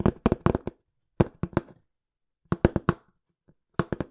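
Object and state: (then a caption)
Cardboard box, tapped. Fingertips tap quickly on a small, hollow, empty-looking brown corrugated cardboard box, producing short bursts of dull, papery knocks. The taps are weighted toward the low end, die away almost instantly, and come in quick clusters separated by brief pauses.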